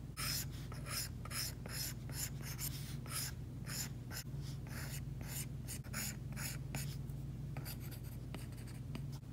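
The plastic tip of an Apple Pencil, held by a hand with long painted nails, strokes across an iPad glass screen fitted with a matte screen protector. It makes a run of bright, scratchy drawing strokes over a steady low hum.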